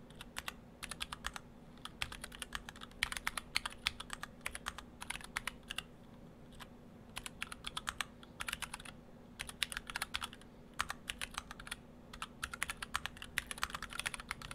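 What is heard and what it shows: Fingertips of both hands type on a split ortholinear mechanical keyboard, the Orthodox Rev3.1, built in two halves with clear acrylic cases, white and cyan PBT dye-sub plastic keycaps and stock Gateron Brown switches. Bursts of quick, short, bright clicks and clacks come in uneven runs with brief pauses between them, over a low steady hum.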